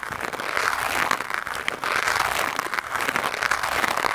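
Stiff white nylon bristles of a lime-green scrub brush are rubbed fast against a black foam microphone windscreen, making a dense, continuous scratchy rustle centered in the upper mids with a bright hiss on top. The brushing swells in two long strokes, easing briefly near the middle before building again.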